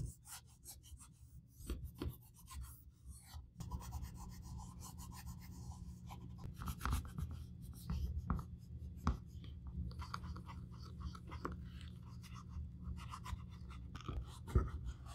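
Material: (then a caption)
Leather. A white cloth wrapped over the fingers rubs a hollow black nappa leather Valentino high-heel pump held in one hand, wiping along the outer side and then inside the lining. Quiet, scratchy rubbing and soft scuffing strokes sit over a steady low hum, with a few brighter swipes standing out. The sound grows slightly fuller after the first few seconds.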